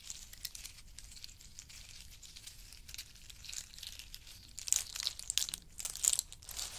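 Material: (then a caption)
Nut shell. Fingertips rake a pile of in-shell pistachios, and handfuls are scooped and rubbed between the fingers. The result is a steady, bright, dry rattling and crinkling of shells. It stays soft for the first few seconds, then grows into louder crunchy bursts toward the end.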